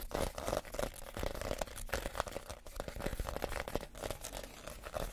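Fingernails scratch across the woven outside of a small, empty woven reed basket. The result is a dense, dry crackling rasp of rapid, uneven scrapes and crinkles that run continuously without pause.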